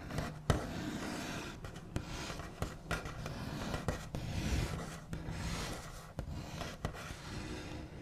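The backs of the nails of one hand scratch, trace and tap across a large, flat, solid wooden tabletop with a smooth white finish. A steady, low-heavy scratchy rubbing runs throughout, broken by short, sharp taps that die away almost at once.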